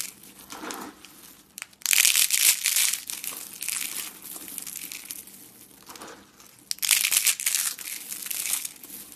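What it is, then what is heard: Dry, brittle soap curls crushed into flakes. A hand with long painted nails crushes a thin, brittle, hollow cream-colored dry soap curl, crumbling it into flakes over a pile of soap flakes on a wooden table. Dense, bright, dry crinkling and crunching comes in two loud bursts, near the start and again toward the end, with quieter rustling crackles in between.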